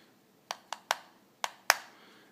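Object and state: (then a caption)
Metal box mod housing that sounds like plastic. Five light, sharp taps on the metal housing of a very light Cloupor T8 150W box mod, heard with no batteries installed. Each tap is a short, bright click that sounds more like plastic than metal; this hollow sound comes from the echo of the chip and parts inside.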